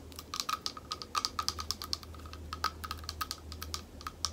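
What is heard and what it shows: A small, thick, clear glass bowl, hollow and empty, is tapped with long nails and fingertips around its rim and base in a quick, uneven run of about 29 light taps. Each tap is a sharp, bright click with a high glassy tick and a faint midrange ping that dies away almost at once. A steady low hum sits underneath throughout.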